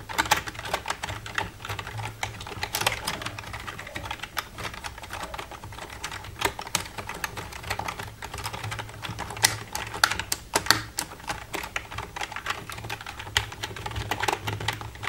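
Long red-painted nails tap and type across the keys of a black plastic computer keyboard. A steady stream of crisp, bright plastic clicks, some sharper and louder than others, runs over a faint low hum.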